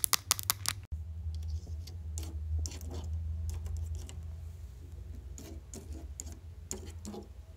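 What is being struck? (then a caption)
Plastic light box with plastic letters. Long yellow acrylic nails tap and scratch across the rows of black plastic letters and the frame of a small grey plastic light box sign that stands on a windowsill and looks hollow. A burst of sharp, bright clicks opens the clip, then a brief silence, followed by quieter irregular taps and dry scratching strokes. A steady low hum sits underneath throughout.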